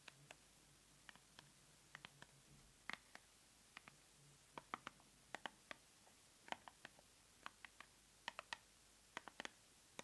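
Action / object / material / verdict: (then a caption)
tap / small paperboard box with a product inside / cardboard / none. Long nails tap and scratch a small, hollow white paperboard cosmetic box with the product inside, held in the hands above an open subscription box. About thirty quiet, sharp, dry clicks with bright edges come in irregular clusters over a faint low hum.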